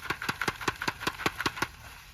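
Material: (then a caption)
Dried gourd. A fully dried loofah gourd, still on the vine, is shaken so the loose seeds gathered at its bottom can be heard. It produces a steady, evenly spaced series of quick, dry seed rattles, each one short and crisp, fading out after about one and a half seconds.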